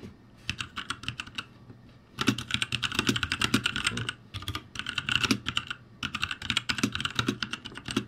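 Fingertips type on a ROCCAT G65 backlit mechanical keyboard with plastic keycaps, producing quick, bright clicking taps. The typing comes in bursts, with short pauses near 2 s, 4.3 s and 6 s.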